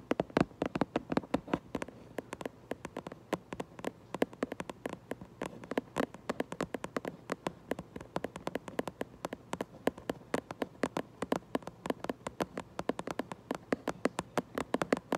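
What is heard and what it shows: Long nail tips tap rapidly on the back of a cardboard Minecraft Lego box, making a quick, uneven stream of dozens of dry, hollow clicks. Each tap is short and dead with no ring, over a quiet, faint steady background.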